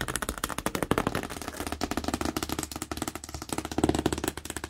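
Long nails and fingertips tap quickly on a large, hollow, printed cardboard TV box with a tape strip. About 26 short, dry taps blend hollow low thuds around 277 Hz with bright nail clicks. Each tap dies away almost instantly, with no ring.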